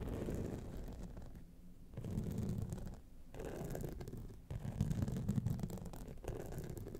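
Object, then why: Rhinestone-studded clutch wallet. Long nails scratch both sides of a gold rhinestone-studded clutch wallet standing upright. The result is a soft, dense, irregular scratching with a low, rumbling body and little high sound. It comes in bursts with brief quieter gaps between them.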